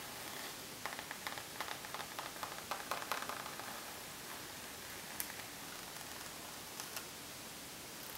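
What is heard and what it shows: Long nails scratch along the top edge and face of a rose gold pebbled faux leather zip makeup pouch lying flat on a table. A run of short, bright scratching strokes clusters in the first few seconds over a steady hiss, followed by a few sparser scrapes.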